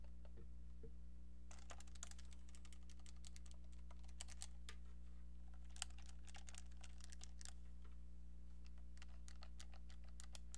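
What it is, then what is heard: Plastic novelty phone handset. Painted nails tap rapidly on a small brown hollow plastic novelty phone handset held close, producing quick, sharp, bright clicks that start about 1.5 seconds in and continue to the end. A steady low hum sits underneath the quiet tapping throughout.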